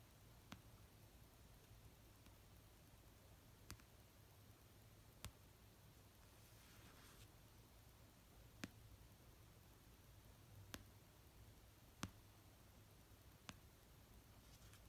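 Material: Paper.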